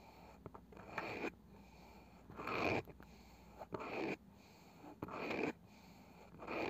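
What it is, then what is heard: Small round wooden box with woven cane side. Long nails slowly scratch and tap the light wooden lid of a small round wooden box with a woven cane side, likely hollow. Soft, dry rasping strokes swell and fade in slow, uneven bursts, broken by light ticking taps.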